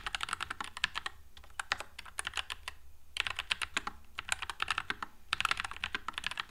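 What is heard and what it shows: Continuous fingertip typing on a white low-profile NuPhy Air96 mechanical keyboard with Wisteria switches and plastic keycaps. Bursts of quick, bright, sharp clicks come in clusters separated by brief pauses. Each keystroke fades almost instantly over a faint low hum.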